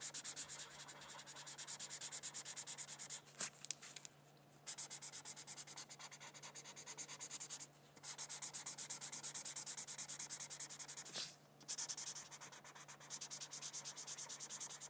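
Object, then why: Felt-tip marker on a thin paper sheet. A felt-tip marker is rubbed across a thin paper coloring sheet resting on a hardcover book in repeated coloring strokes. It makes a continuous, bright, scratchy rasp of rapid back-and-forth strokes, broken by three brief pauses. A faint steady low hum sits underneath.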